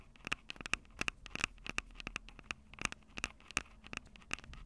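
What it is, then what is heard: Handheld audio recorder, tapped with nails on metal mic grilles. Long acrylic nails tap the metal-grilled microphone capsules of a Tascam DR-05 handheld recorder, a small, hollow plastic-bodied unit. Rapid, irregular, dry clicks come in quick bursts, each bright with a faint ring near 2.6 kHz and dying away almost instantly over a low, steady background.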